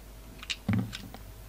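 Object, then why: Carved soap flower. A solid red poppy carved from soap, held in the hands, is cut and scraped apart with a utility knife. Soft, crisp cuts and scrapes come in short bursts, with a duller, heavier crunch near the middle over a quiet, steady background.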